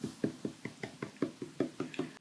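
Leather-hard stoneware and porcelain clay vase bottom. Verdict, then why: Thin. Fingers tap the bottom of a freshly thrown, leather-hard swirlware vase of brown stoneware and white porcelain to judge its wall thickness, since a hand cannot reach inside. Eight dull, short knocks sit low at about 320 Hz with almost no ring. The deep tone shows the bottom is very thin, which is good, so no foot will be trimmed.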